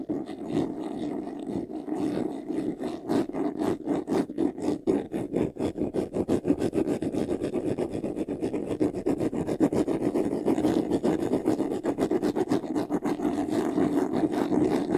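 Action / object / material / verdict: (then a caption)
scrape / textured faux-leather jewelry box / faux leather / none. Fingertips and nails scratch quickly across the side panel of a closed, hollow, medium white faux-leather jewelry box with a textured surface. The result is a steady stream of rapid, slightly uneven rasping strokes with a dry, mid-pitched hollow body and short scratchy highs that stop almost as soon as each stroke ends.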